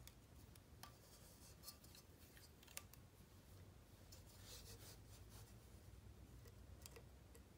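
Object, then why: Unfired clay mug scraped with a sculpting tool. A thin, pointed wooden or metal sculpting tool scratches and incises the surface of a small, hollow, empty, unfired terracotta clay face mug held in one hand. The result is a quiet, steady scraping and rasping with bright, sharp little clicks scattered throughout, over a low background rumble.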